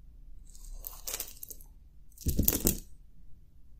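A bare hand grabs handfuls of small solid brass-cased .22 LR cartridges with dark lead bullets from a pile on a grey fabric cloth, rubs them together in the fingers and lets them drop back onto the pile. Two bursts of bright, quick metallic clinking and rattling are heard, the second louder, with a faint low rumble underneath.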